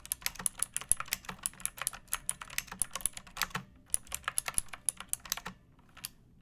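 Long painted nails and fingertips type on a pink plastic mechanical keyboard with round backlit keycaps and a hollow body, resting on a wooden surface. About 37 quick, bright, dry clacks come in a steady run, with a brief pause partway through. The run ends in a few softer taps and then silence.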